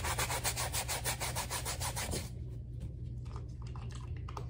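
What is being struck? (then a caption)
Rubber slide sandal. A wet bristle brush scrubs the sole and footbed of a black rubber slide sandal with foam, making brisk, rapid back-and-forth scratchy strokes for about two seconds. The scrubbing then turns softer and sparser, with scattered bright scuffs over a steady low hum.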